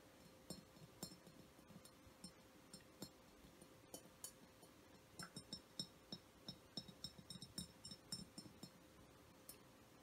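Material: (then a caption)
Glass. Fingertips and nails of one hand tap along the body of a hollow, vase-shaped frosted glass essential oil diffuser, about 25 cm tall and lit from inside with changing colours. About 25 light, bright glassy clinks, each with a very short ring, come at an irregular pace that quickens into denser clusters in the second half. A faint steady hum sits underneath.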